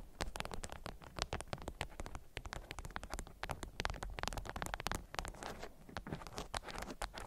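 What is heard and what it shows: Long nails tap and scratch a stiff, candy-shaped beeswax-coated cotton wrap around a small object. The result is a dense, rapid patter of sharp, dry clicks and crinkly scratches over a low, muffled thump.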